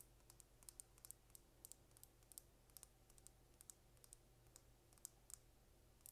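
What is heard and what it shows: Long red nails tap and scratch a small, slim dark purple plastic lip gloss tube with a gold cap, hollow with gloss inside, held up close. A rapid, irregular series of sharp, bright clicks and light scratches rises over a steady low hum. Each tap dies away almost instantly.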